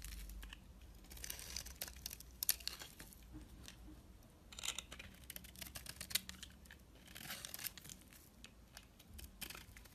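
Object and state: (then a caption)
Soap bar being carved. A utility knife blade cuts and scrapes curls off a solid rectangular bar of soap with a blue glittery outer layer and a white core, held in the hand. It makes soft, bright, crackly scraping and shaving sounds in several longer strokes, with faint crisp snaps between them over a low background rumble.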